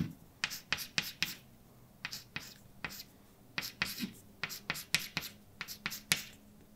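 A hand writes words on a large, flat, dark painted blackboard with a white chalk stick, its strokes tapping and scratching against the solid surface. About seventeen short, bright clicks and scrapes come in quick, uneven bursts with quiet gaps between them, each dying away almost at once.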